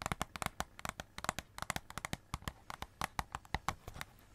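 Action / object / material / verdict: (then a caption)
tap / cardboard Christmas cracker with foil and glitter paper wrap / cardboard, foil / none. Long red nails rapidly tap and scratch a hollow cardboard Christmas cracker wrapped in glitter paper and silver foil, with purple glitter ends and a silver middle. About two dozen quick, dry clicks and taps land in an uneven rhythm, each crisp and bright with a papery rasp and no ring, over a faint crinkly scratching between them.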